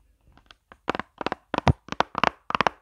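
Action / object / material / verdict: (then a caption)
tap / plastic makeup palette case / plastic / none. Long fingernails scratch and tap the textured squares of a pink plastic chocolate-bar-shaped eyeshadow palette, a hollow case held near the camera. Short, crisp clicks and taps come in quick clusters of two or three, with a slightly hollow thunk under them and almost no ring after each one.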